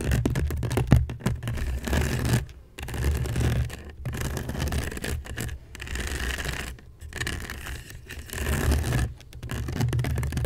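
A fingernail scratches across the woven surface of a hollow seagrass basket made of natural fiber. It gives a dense, rasping scrape with a strong low, hollow rumble. The scratching comes in steady bursts broken by brief pauses.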